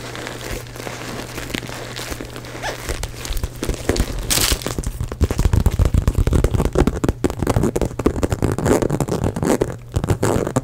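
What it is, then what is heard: Faux leather handbag scratched. Long nails scratch and rub a small black glossy crocodile-embossed faux leather handbag, hollow and apparently empty, held close to the mic. Soft, dry scratching gives way after a few seconds to louder, faster bursts of crunchy, crinkling rasps. A low, steady hum runs underneath throughout.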